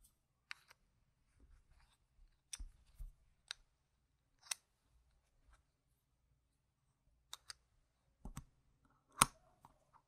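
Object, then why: Small round plastic game tokens. A stack of small, solid, round plastic game gem tokens is held in the hand while fingers riffle and click them together. The result is quiet, sharp, bright clicks at irregular intervals with almost no ring, separated by near silence. The loudest click comes near the end.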